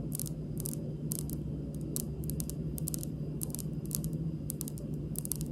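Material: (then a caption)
Stone. Long pink acrylic nail tips on both hands lightly tap a large, solid, polished, speckled granite (marble-like) stone kitchen countertop. Short, bright clicking taps come in a slow, irregular rhythm over a steady low hum around 160 Hz. Each tap dies away almost instantly.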